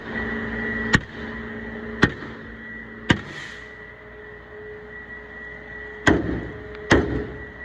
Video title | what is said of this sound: Trucking in the cold | So you can hear it that it's empty on those spots.